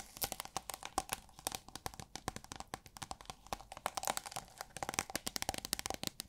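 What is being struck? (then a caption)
Thin plastic film tube. Long nails rapidly tap and scratch a hollow tube of thin holographic plastic film, making the film crinkle. Dense, sharp clicks and crackles come in quick bursts with bright, high crinkly detail and a faint ringing tone near 770 Hz. Each tap dies away almost instantly.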